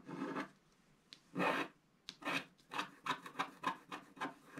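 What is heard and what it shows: A wooden stick scratches the black layer of a flat black wax-coated scratch art paper card, revealing a cloud at the upper right. About twelve separate dry, raspy strokes are heard, each a short papery rasp centred in the midrange with a bright hiss and no ringing after.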